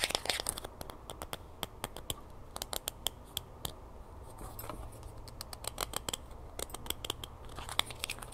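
Long fingernails scratch and tap the ridged edge of a small, hollow green plastic screw cap held in the fingers after being taken off a jug. Many quick, sharp, bright clicks and taps stand out over a soft, steady scratching hiss, each dying away almost instantly.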